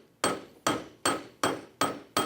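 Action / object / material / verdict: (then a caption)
strike / steel anvil / steel / none. A steel anvil is banged on six times in a steady rhythm. Each strike is a sharp, bright metallic clang that rings briefly and fades before the next, showing that the steel is solid and really tough.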